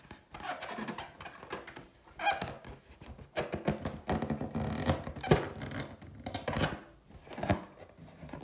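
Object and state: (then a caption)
Latex balloon, tapped and scratched. Long teal nails tap and scratch the top and side of a large, hollow, inflated clear latex balloon printed with gold pineapples. The clip is a run of soft, hollow rubbery thunks mixed with dry squeaky scratching, in short bursts of varying loudness with brief quiet gaps. It has a low, muffled body and little high-end sparkle.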